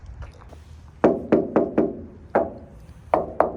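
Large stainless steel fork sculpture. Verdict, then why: Hollow. Knocks on a giant stainless steel roadside fork sculpture, the world's largest, which weighs 11,000 pounds. Seven short, irregular knocks give a hollow tone centred around 640 Hz that dies away within a fraction of a second. The sculpture sounds hollow rather than solid.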